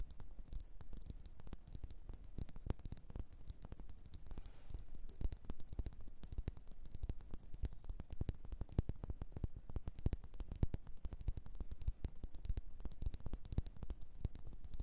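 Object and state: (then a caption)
Ceramic bowl tapped with fingernails. Long orange almond-shaped nails tap and scratch the outside of a small glossy blue bowl, likely ceramic, turned upside down so its hollow base faces up. The result is a quiet, steady stream of rapid, soft clicking taps and scratchy brushes with a low, dull body and almost no ring after each hit.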